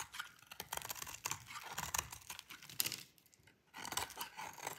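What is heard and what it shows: A metal utility-knife blade shaves and carves flakes off a hand-sized, solid, light blue bar of dry soap held in one hand, with the flakes falling away. Quick, dry, crisp scraping and crunching strokes sound bright and high, with almost no low end and no ring. They pause briefly just after the three-second mark, then resume.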